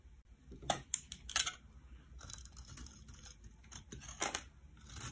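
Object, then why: Soap bar scraped by a metal knife. A metal knife scrapes and slices flakes off the top of an oval, solid blue stamped soap bar held in the palm. Crisp, bright scraping strokes come in short bursts with brief quiet gaps, each ending quickly with almost no ring.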